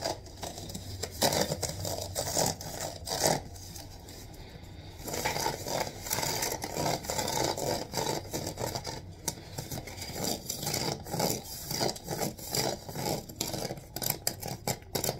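Fingertips and nails scratch and rub along the vertical reeds of a hollow, medium-sized rattan wicker basket with a wooden rim and handle, held up in the air. Dry, crackly scraping comes in rapid, uneven bursts with a bright, hissy edge. There is a quieter, softer rubbing stretch about a third of the way in before the scratching picks back up.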